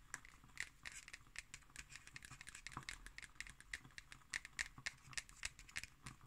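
Long nails tap and scratch the cardboard cover of a black hardcover paper notebook held upright. The result is a quiet, rapid series of short, bright clicks mixed with dry scratching, with little low end and almost no ring after each tap.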